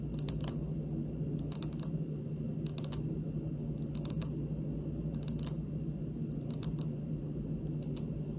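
Fingernails tap a stone countertop in small bursts of three to five quick clicks, repeated about eight times. Each click is bright, sharp and dead at once, with no ring, as on a dense, solid slab. A steady low hum runs underneath.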